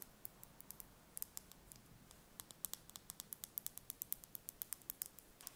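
A small whole brown hen's egg, held in the hands, is tapped and scratched with long painted fingernails. About 36 quick, dry, bright clicks with almost no ring fall in an irregular patter that grows steadier and denser toward the end, over a quiet low hum.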